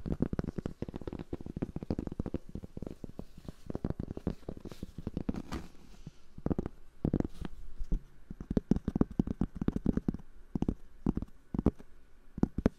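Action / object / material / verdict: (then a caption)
tap / cork board / cork / none. A cork board is tapped and scratched with fingers for ASMR. Rapid, dense, dull taps with a soft low-mid thud die away almost instantly, over a faint scratchy texture. A brief quieter stretch falls in the middle before the tapping picks up again.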